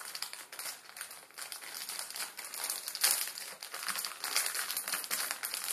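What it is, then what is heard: Plastic instant ramen packet. A plastic instant ramen packet, its plastic film holding the noodles inside, is scratched with fingertips on a table, then picked up and pinched. The result is a steady, irregular, bright crinkling and crackling with almost no low end, with a sharper, louder crunch about halfway through.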